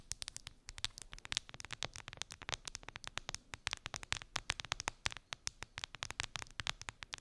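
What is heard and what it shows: Long pink nails tap rapidly on the smooth clear plastic side of a clear plastic phone case decorated with resin gummy bears, turned face up and resting on fluffy fabric. The result is a quiet, dense stream of dozens of sharp, bright clicks, each dying away almost instantly, with little low-end body.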